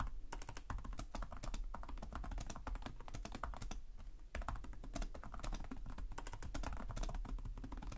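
Fingertips of both hands tap rapidly across the low-profile plastic chiclet keys of a black laptop with a hollow body, producing continuous typing. Dense, quick clicks with short, dry decays run throughout, with a brief lull just past the midpoint before the typing resumes at full pace. A steady low hum sits beneath the clatter.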